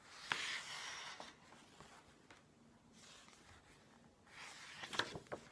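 Fingertips grab and flip the glossy paper pages of a hardcover book with a green-edged cover resting on a wooden table. Quiet, bright papery swishes rise and fade, punctuated by sharp crisp snaps and soft ticks as the pages catch and settle. A low hush fills the pause between turns.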